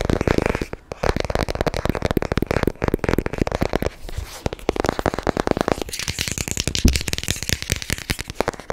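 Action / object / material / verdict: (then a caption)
tap / cardboard box / cardboard / none. A long, narrow, hollow white cardboard product box is held in one hand and tapped and scratched with short natural fingernails and fingertips. Dense runs of quick, dry taps and scratchy rustles come with a hollow low thump under them. Near the end, the sound turns to brighter, lighter scratching.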